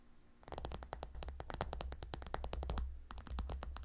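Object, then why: Pillow covered with hexagonal gemstone tiles. Long nails on both hands claw-scratch the hexagonal stone tiles of a gemstone hot stone pillow. It makes a fast, steady run of sharp, bright clicks and scrapes over a constant low hum. A short quieter gap near the end breaks the run before it resumes.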